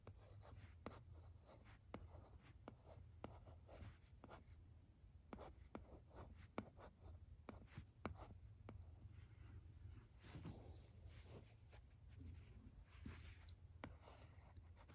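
A red plastic stylus writes letters on the screen of a teal plastic LCD writing tablet resting on carpet. Soft, dry scratching strokes come in short bursts with quick taps, over a steady low hum.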